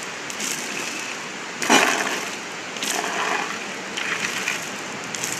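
A drag chain is swept back and forth across a concrete bridge deck, moving from sound concrete onto an area of delaminated concrete. It gives a steady, bright metallic rattle and scrape, with several louder swells where the chain passes. Over the delaminated area the sound changes from the sound concrete just before it.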